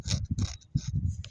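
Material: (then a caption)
Eggshell. A dirty runner duck egg, left by the hen in grass and soil in the yard, is scratched to compare it with a green-shelled chicken egg of similar size; the duck egg's shell is smoother, more slippery and thicker. About five short, dry scratching strokes are heard, mostly a low rasp with faint bright hiss on top. The scratch sounds completely different from the chicken egg's.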